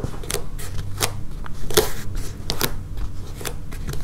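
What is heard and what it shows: Long painted nails tap and scratch the surface of a flexible blue and yellow foam mat with a solid blue grid top. The sound is a quiet series of soft, short taps with brief bright clicks, over a dull low rumble and light scratching between them.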